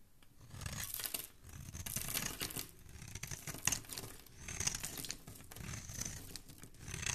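A palm-sized solid green bar of soap is held in the fingers while a metal blade scrapes and shaves across its surface, peeling off curls and crumbs. The quiet, bright, crackly shaving strokes come in repeated bursts with short, dry rasps and little low end.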